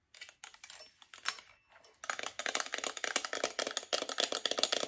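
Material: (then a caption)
Metal. Long nails tap and scratch the glass or plastic face and rim of a hollow chrome metal alarm clock with twin bells. Sparse, bright clicks and a brief ringing scrape come first, then give way to a rapid, dense run of crisp, high-pitched taps with almost no low end.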